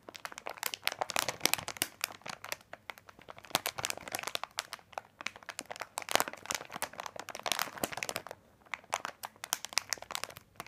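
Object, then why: Plastic bag of candy packs. Fingertips of both hands rub and press a large printed plastic bag of candy corn, lying flat and full of small packs, to crinkle it. Dense, bright crinkling and crackling fills the whole clip as a rapid stream of short, sharp snaps with almost no low end.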